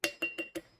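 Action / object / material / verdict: tap / small steel object, possibly a straw / steel / none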